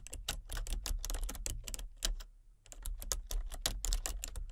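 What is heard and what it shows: Fingertips with long painted nails type in quick taps on a full-size plastic computer keyboard with color-changing backlit keys and a hollow body. Crisp, bright clicks come in a rapid, uneven stream, with a brief pause just past the midpoint before typing resumes, over a steady low hum.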